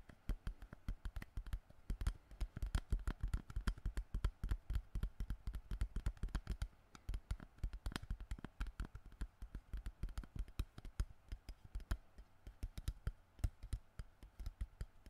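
Fingertips tap and crinkle the surface of an empty, crushed, hollow clear plastic water bottle held near the mic. A rapid, uneven stream of soft, dull, low taps with faint crackling runs for the whole fifteen seconds at a quiet level. Each tap dies away almost instantly.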